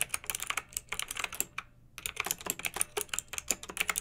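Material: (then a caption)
Plastic. Fingertips with long nails type on a pink backlit plastic mechanical keyboard with round typewriter-style plastic keycaps. A rapid run of bright, crisp clicks with almost no low end and very short ring breaks for a brief pause partway through, then resumes at the same steady pace.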